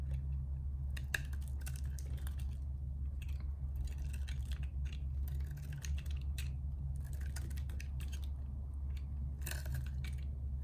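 A narrow piece of solid purple bar soap is held upright and shaved with a metal box-cutter blade, scraping and carving it. Quick, dry, bright scraping and crisp little clicks come in short bursts over a steady low hum throughout.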